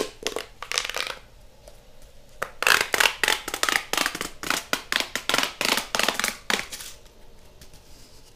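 A hollow pink corrugated plastic pop tube toy is compressed, then pulled and stretched out by hand, making its ridges pop and crackle. Bright, crisp snapping bursts come in an irregular rapid series, louder and denser in the middle, with quieter gaps near the start and a soft fading tail at the end.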